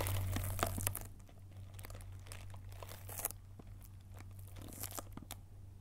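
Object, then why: Cardboard box wrapped in plastic film. Long painted nails scratch and tap the clear plastic film sealing a small green cardboard candy box held up close. The result is a run of crinkly, crackling taps and scrapes over a steady low hum, louder at the start and then quieter with a few sharper bursts.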